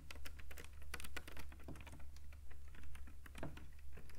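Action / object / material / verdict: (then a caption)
tap / woven rattan cane webbing panel / rattan cane / none. Fingertips tap and scratch rapidly behind a thin woven rattan cane webbing panel with open holes, producing a quick, irregular patter of dry, bright clicks and scrapes. The short, sharp taps ring out almost instantly over a steady low hum.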